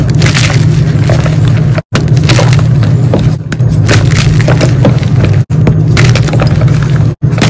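Solid blue-coated gym chalk blocks are broken and crumbled by bare fingers, exposing the white inside as powder falls. A dense, nearly continuous run of crunching and crackling snaps sits over a heavy low rumble, broken by a few brief silent gaps.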